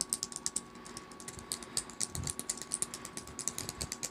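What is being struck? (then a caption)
Plastic tablet keyboard keys. Long acrylic nails tap and type rapidly on the keys of a small black plastic tablet keyboard set in a purple faux-leather case lying on a fleecy blanket. A fast, uneven stream of sharp, bright plastic clicks sounds, each dying away almost instantly, over a faint steady hum.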